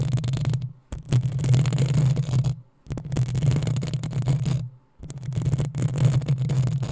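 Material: Metal mesh.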